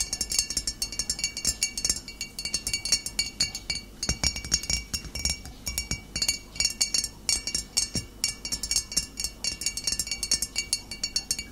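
Fingernails tap steadily on a glass bottle, producing a continuous run of quick, clear clinks. The clicks are short and bright, with high ringing tones that fade almost at once, and little low-end weight.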